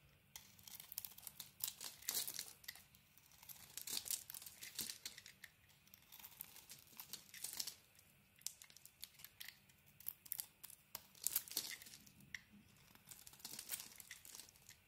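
A knife blade scrapes crumbly shavings off a solid soap bar, held in the hand, that has a red patterned coating and a cream core. The result is quiet, bright, crisp scraping and crackling in repeated bursts, like light tearing or crinkling, with short pauses between strokes.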